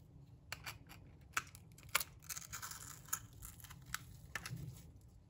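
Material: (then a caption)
Soap. A light green bar of dry soap held in the hand is scraped with a metal blade into crumbly shavings. Quiet, bright, dry scratching comes in short, irregular strokes with sharper crackling peaks and no ring.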